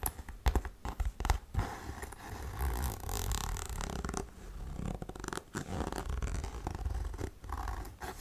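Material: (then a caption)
Faux suede. Long nails scratch and tap along the shaft and straps of a tall, tan, buckled faux suede boot that stands hollow and empty. Soft, dull taps and rasping scratches come in quick uneven bursts, low and muffled in tone.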